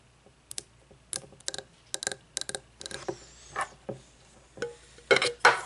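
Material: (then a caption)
Glass. Long nails tap and scratch the sides of a frosted glass candle jar with wax inside and no lid, laid on its side on a wooden table. Sharp, bright glassy clicks come in an uneven rhythm with a brief ring, broken by a few rasping scratch strokes, and the loudest scratches come at the end.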